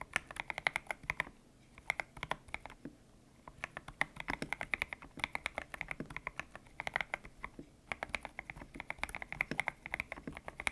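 Fingertips type on a white-cased mechanical keyboard with grey and pink PBT plastic keycaps, its hollow case resting on a desk mat. Bursts of quick, bright, clicky keystrokes run in flurries separated by brief pauses, each press short and dry with little ring.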